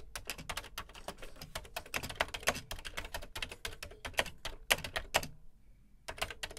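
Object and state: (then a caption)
Plastic computer keyboard being typed on. Fingertips type on the dark plastic keys of a beige plastic Commodore VC 20 home computer keyboard. They produce a fast, steady stream of sharp, bright plastic clicks with almost no ring. The typing stops briefly near the end, then resumes for a few more keystrokes.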